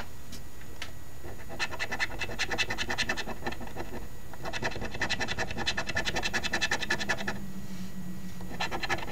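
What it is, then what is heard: Scratch-off lottery ticket. A coin held in the fingertips scratches the latex scratch-off coating on a flat cardstock instant lottery ticket lying on a table. Bursts of quick, rasping back-and-forth strokes come in two main runs separated by a short pause, with a brief final flurry at the end, bright scraping texture over a low background rumble.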